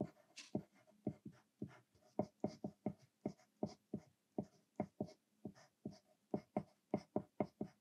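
A green mechanical pencil with a thick 2mm graphite lead writes continuously on a thin white paper sheet lying flat on a desk. About 26 short, separate scratching strokes are heard, each a dry, low-mid scrape that stops almost instantly, with faint brighter hiss on top.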